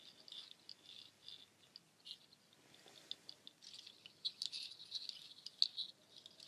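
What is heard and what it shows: Long nails rake through a nut shell waterfall shaker, strands of dark hollow nut shells on cord held up high, rattling the shells together. The result is a quiet, bright patter of dry, clicky rattles with no low end and no ring, growing busier and sharper toward the end.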